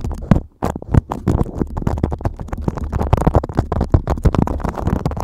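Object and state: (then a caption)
Beeswax-coated cotton food wrap. A thin beeswax-coated cotton food wrap, draped over a microphone, is scratched and crinkled by fingertips and nails. Close, low, muffled rustles and scrapes dominate, with dense rapid crackles and a brief quiet gap near the start.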